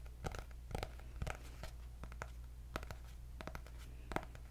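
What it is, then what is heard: Hardcover paper notebook. A cream hardcover notebook with gold dots is held up and tapped and scratched on its cover with fingernails. It makes a series of short, dry taps and brief scratchy strokes, each dying away almost at once, over a steady low hum.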